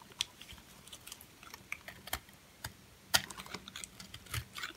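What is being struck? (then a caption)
Bar of soap shaved with a metal blade. A metal blade shaves and scrapes a purple, hand-sized, solid, dry bar of soap with a bubble pattern, held in the palm, leaving flakes on top. Quiet, bright, crisp scratching and crackling clicks come in irregular bursts with short, dry ticks. Two sharper scrapes stand out near the middle.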